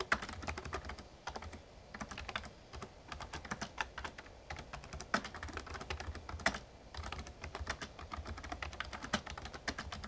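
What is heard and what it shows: Fingertips type steadily on the keys of a full-size, backlit plastic Razer Ornata Chroma mecha-membrane gaming keyboard. The result is a dense, continuous run of short, soft clicks and taps with occasional louder key strikes, over a steady low rumble.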